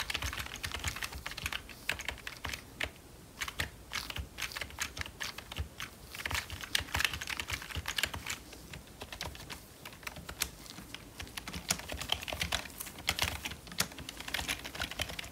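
Gloved fingertips tap the arrow keys of a hollow, full-size black plastic membrane computer keyboard, then type steadily. Each press gives a short, dry, bright click with almost no ring. The taps come in quick, uneven bursts with brief pauses throughout.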